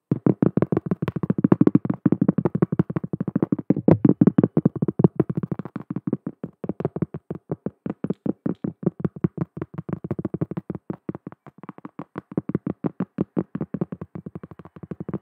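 Long nails tap and scratch quickly across the surface of a large, round, flat, solid cork trivet. The result is a fast, steady string of short, dry, dull taps with a low-mid body and almost no ring, continuing evenly through the clip.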